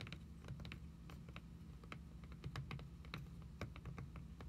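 Long acrylic nail tips tap quickly on a solid red cloth hardcover book lying flat on a table. A rapid, uneven stream of light, dry clicks rises over a steady low hum, each tap short with little ring.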